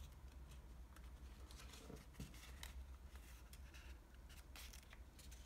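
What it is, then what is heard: Washi origami paper being folded. Fingertips fold a sheet of green floral washi origami paper and rub its creases flat. Quiet, short papery rustles and soft scraping strokes come in bursts. Underneath them runs a steady low hum.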